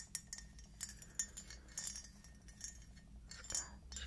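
Long acrylic nails tap a small glossy red-black speckled glazed ceramic T-rex figurine, making a quick series of bright, high clinking clicks. Each tap is short and dies away almost at once over a faint low background hum.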